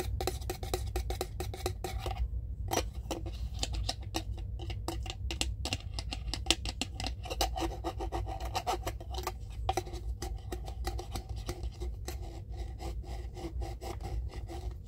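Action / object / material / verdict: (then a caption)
scrape / ridged plastic screw lid of a small jar / plastic / none. A small clear plastic jar full of cotton pads has its ridged screw lid scratched and rubbed with the fingertips. The result is a steady run of dry, rasping scrapes over a low background hum, lasting about 15 seconds.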